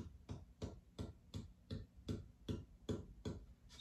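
A cedar guitar top, not yet at its finished thickness, is tapped about ten times in a steady rhythm to set a baseline for comparison. Each tap gives a drummy low boom around 100 Hz with a faint bell-like high ring that fades quickly. The top sounds as expected for cedar: responsive, with nice sustain.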